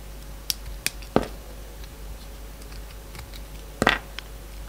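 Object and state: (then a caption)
Bar of soap being cut. A yellow box cutter carves and scrapes a solid light blue bar of soap. Short, sharp cutting clicks and scrapes come in a quick cluster near the start, then after a quiet stretch with a faint steady hum, a brighter, longer scrape and a last small click near the end.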